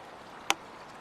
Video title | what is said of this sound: los herederos de stradivarius | El sonido es profundo, pero... no suena bien